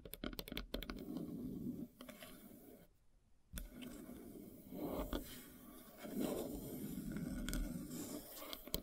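Long nails scratch and tap across the solid surface of a large, flat slice of light-colored wood with a bark edge. Sharp, dry taps cluster at the start, then give way to low, gritty scraping strokes, broken by a brief near-silent pause around the third second. The scratching then resumes in rising and falling swells, with occasional bright clicks.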